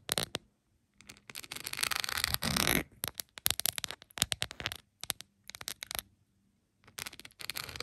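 Long pointed acrylic nails tap and scratch across a plastic phone case covered in small glass-like rhinestones, lying flat. Bright, crisp clicks come in quick bursts with a denser scraping stretch in the middle, separated by brief silences.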